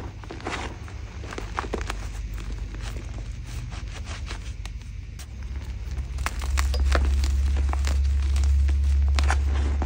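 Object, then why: Block of gym chalk (magnesium carbonate). Bare hands grab, squeeze and rub crumbly, solid chunks of blue-dyed gym chalk (magnesium carbonate) from a pile of chunks and powder, crushing them into powder between fingers and palms. Dry, crisp crackles and crunching snaps sound in quick succession over a steady low rumble that grows louder in the second half.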